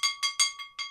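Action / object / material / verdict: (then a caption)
shake / stoneware figurine bell / stoneware / none. A handmade Polish stoneware angel figurine that doubles as a bell is rung five times in quick succession. Each stroke gives a bright, high-pitched ring with clear overtones that fades within a fraction of a second. The bell rings normally.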